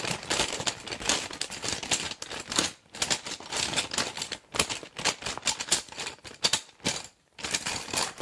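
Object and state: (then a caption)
Clear vinyl pencil case full of pens. A small clear PVC zip pencil case, full of plastic pens and wooden pencils, is gripped by fingers with long dark nails and shaken and squeezed. Its contents rattle and click in dense, bright bursts with very little low end, separated by brief pauses.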